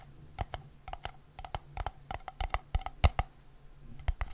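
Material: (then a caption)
Metal. Fingertips and nails tap and scratch the top of a red-and-white gingham-patterned metal screw lid on a small, empty-looking glass jam jar, while the other hand holds the jar close to the microphone. A quick, uneven run of short, dry clicks with soft low thuds dies away almost instantly over a faint, steady low hum.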